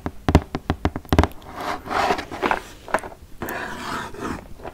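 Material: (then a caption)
Cardboard. Long nails and fingertips tap and scratch the front face of a large, flat, printed cardboard "200 Spellendoos" game box, held upright and apparently closed with game pieces inside. A quick series of sharp, hollow taps comes first, followed by softer, broader scratching strokes mixed with a few more scattered taps.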